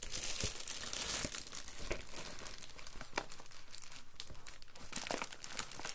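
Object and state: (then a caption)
Plastic bubble mailer. A padded Amazon Prime poly bubble mailer is handled, lifted and rubbed with fingertips along the seal area. It gives off a steady, bright crinkling with irregular sharp crackles and a few louder pops. Possible tearing is mixed in.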